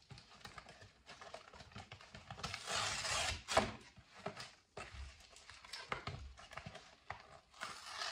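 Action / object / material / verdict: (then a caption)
scrape / thin folding-box cardboard / cardboard / none. A flattened, empty grey folding-box carton of thin cardboard, about A4 size, is held in latex-gloved fingertips and ripped apart into pieces. Quick, irregular crackling tears and dry scratchy snaps are heard, with a longer, louder, bright rip in the middle before the short tearing bursts resume.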